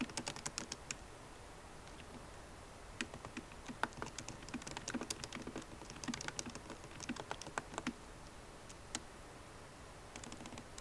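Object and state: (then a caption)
Laptop keyboard, plastic keys. A MacBook Pro keyboard with plastic keycaps in an aluminum body is typed on with long nails and fingertips. Quick, bright clicking taps come in bursts with short pauses, each tap dying away almost at once.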